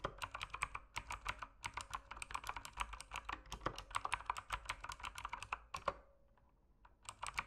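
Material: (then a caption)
Plastic. Fingertips type steadily on a mechanical keyboard with plastic keycaps and a dim backlight, making a rapid run of sharp, bright clicks and clacks with very short decay. The typing pauses briefly near the end, leaving a faint tone, then resumes with a few more quick keystrokes.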